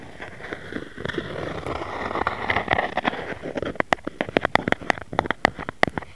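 Fingertips and nails tap and scratch the top of a round white plastic jar lid with a printed label, hollow underneath and lying on a mat. A soft, crackly scratching fills the first half, then gives way to a quick run of sharp, dry taps with a short hollow plastic tone around 770 Hz.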